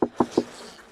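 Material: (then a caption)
Wood. Three quick, hollow knocks on a wooden beehive in winter are followed by a faint, airy buzz from the live colony inside. The colony answers as it should and is healthy, with the bees feeding on their candy.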